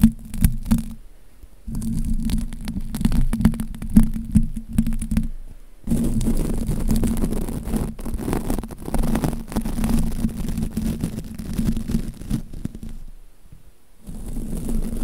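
A wide soft-bristled brush held in the fingers is rubbed across a round, hollow metal mesh microphone grille. It makes dense, low, scratchy brushing in long bursts with a steady droning tone around 220 Hz, separated by brief quiet pauses.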